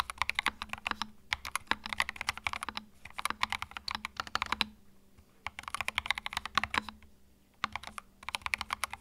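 Fingertips type continuously on a compact white mechanical keyboard with plastic keycaps, giving rapid, bright clicky keystrokes in bursts. Short pauses fall between the bursts, and each key strike dies away almost instantly.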